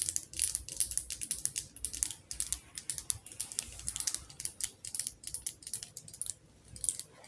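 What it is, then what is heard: Glass jar candle. Fast tapping with long nails on the glass side of a wax-filled glass jar candle with a metal lid. It makes a rapid stream of short, bright clicks that die away almost instantly.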